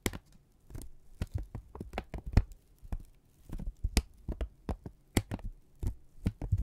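A single flat strip of thin brown kraft paper is held in both hands, squeezed together and stretched, and crinkled with the fingertips and thumbs. It makes a quick series of short, dry crinkles and crackles over soft, low thuds. Each burst cuts off almost at once, with brief pauses between.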